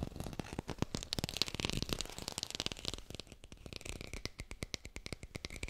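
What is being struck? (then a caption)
Plastic artificial lemon. Fingers fast-tap a textured artificial plastic lemon, captured with a hi-fi microphone. About thirty quick, dry taps blend a soft low thump with bright, crackly texture and stop dead with no ring.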